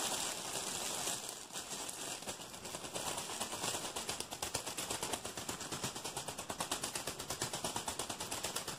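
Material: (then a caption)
Plastic film. A hand-sized, soft, packed-full stack of blue disposable face masks sealed in a clear plastic bag is squeezed and crinkled fast by both hands with fingertips. It starts as a dense, continuous bright crackle, then turns into quick, rhythmic crunchy pulses of crisp plastic rustle.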